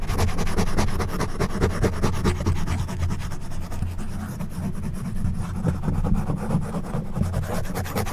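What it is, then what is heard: Foam microphone windscreen scratched. The prongs of an orange plastic back scratcher, held in one hand, scratch across the top of a soft, porous black foam windscreen on a silver condenser microphone. The result is a steady run of rapid, somewhat irregular rasping scratches, heard mostly as a deep, muffled rumble around 94 Hz with little high-end content.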